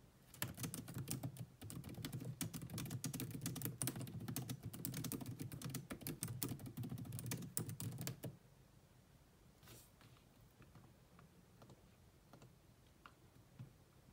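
Long nails and fingertips type steadily on the black plastic chiclet keyboard of a grey laptop, giving a dense run of crisp clicking key taps with a low thump under each. After about eight seconds the typing stops, leaving a quiet stretch with only a few faint, scattered taps.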